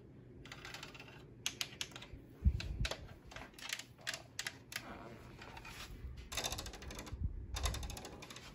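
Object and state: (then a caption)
Plastic fan grille. Long acrylic nails and fingertips tap and scratch on a black plastic Vornado desk fan, a hollow housing with a spiral grille and a round centre badge. Quick, bright clicking taps come in bursts with brief scratchy rasps and a few duller low knocks on the housing, and each tap dies away almost instantly.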